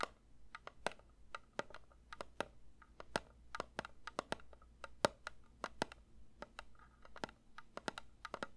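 A metal candle tin is lightly tapped with the fingers in a steady, uneven series of quick, soft taps. Each tap is a short, dry click with a faint metallic tone around 590 Hz and a bright edge, dying away almost instantly over a quiet low hum.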